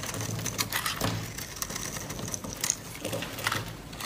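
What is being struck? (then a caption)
Bar of soap scraped with a blade. A utility-knife blade scrapes and carves thin flakes off the surface of a solid, palm-sized pink bar of dry soap held in the hand, while an untouched white soap bar sits on the table. The strokes give dry, crisp crunching and scratching with bright, high edges over a soft low rustle, in a steady run of short scrapes that stop without any ring.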